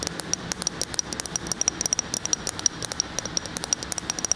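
A medium glass jar filled with a tan, peanut-butter-like spread is held tilted and tapped on the glass with fingernails. About 35 quick, bright clicks with a high glassy ping rattle out in a fast, uneven stream over a faint hiss, each dying away almost at once.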